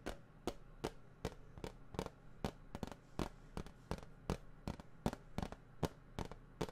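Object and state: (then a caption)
Plastic game case tapped. A hollow plastic video game case, held at its side beside the microphone, is tapped and scratched on its cover with fingertips and nails. Sharp, dry, hollow taps with bright clicky edges repeat at an uneven, fairly quick pace and die away almost instantly, over a steady low hum.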